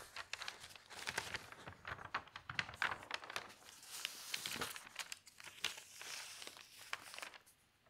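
Hands with long pink nails smooth the pages of a thin newsprint newspaper lying open flat on a table, beside other untouched papers, and turn a large sheet. The paper gives a dense, bright, crackling crinkle made of many quick, dry rustles and sharp snaps with almost no low end. The sound rises and falls through the turn and settles quietly at the end.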